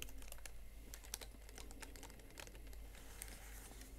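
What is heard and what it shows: A single fingernail-tipped fingertip presses the keys of a plastic Huawei MateBook X Pro laptop keyboard one by one. The result is a quiet, steady run of short, crisp clicks and taps over a low constant hum.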